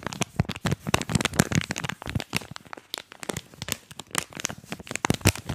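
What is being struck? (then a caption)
Plastic foil snack packet. A small, printed yellow-green plastic and foil snack wrapper, hollow, flexible and apparently empty, is held in both hands and crumpled and crinkled with the fingertips close to the microphone. Dense, rapid crackles and crunchy snaps come in quick irregular bursts, each dying away almost instantly. The crinkles have bright, high edges over a low body.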